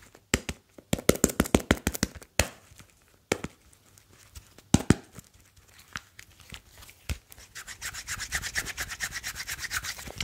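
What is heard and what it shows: A hand-sized, slim smartphone with a glass front and a grey metal back is held in both hands and rubbed and tapped with fingertips. Quick, dry taps with almost no ring mix with short scratchy rubbing strokes, and the clip ends with a steady run of fast, bright rubbing.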